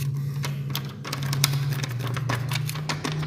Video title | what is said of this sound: Recommend tinted clear view | dia hampir sama tapi macam ada kosong